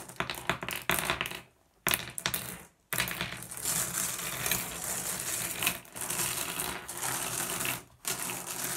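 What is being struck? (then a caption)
Small glass gem pebbles. Fingertips push small, solid blue glass gem pebbles around, making bright, sharp clicks and clinks broken by short pauses. A hand then scoops up a group of the gems, producing a denser, steady clattering rattle.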